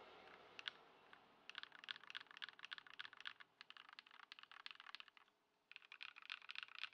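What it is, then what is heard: Plastic mechanical keyboard. A compact white Ducky One 2 SF mechanical keyboard with plastic keycaps, modded with Poron foam and swapped to Lumia Matcha switches, sits on a wooden desk while fingertips of both hands type on the keys, with fewer keystrokes than in other stretches. Quick, bright, clacky key taps come in irregular bursts with a very short decay, broken by a brief quiet pause near the end before the typing resumes.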